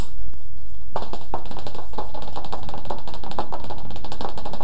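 Fingertips tap rapidly on the glossy cover of a thin, flat paperback children's picture book, "Filipino Children's Favorite Stories," held above the head in both hands. The quick, dry taps begin after a brief pause and run together into a dense, continuous patter over a steady low hum.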